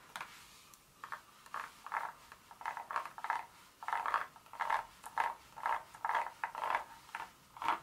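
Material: Chocolate.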